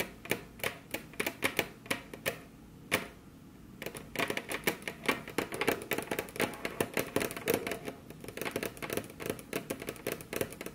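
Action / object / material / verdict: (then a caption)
tap / wooden desk surface tapped with long fingernails / wood / none. Very long, curved natural nails tap and trace across a large, solid, flat, dark brown polished wooden desk surface (possibly laminate), with both hands spread apart. Quick, bright clicks come in an irregular rhythm, pause briefly near the three-second mark, then pick up into denser tapping. Soft scratchy tracing fills the gaps between the taps.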